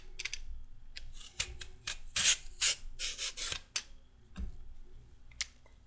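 A solid raw carrot is scraped with a metal peeler in repeated strokes. Each stroke gives a bright, high, rasping scrape that stops quickly, with short quiet gaps between uneven strokes and a faint low rumble underneath.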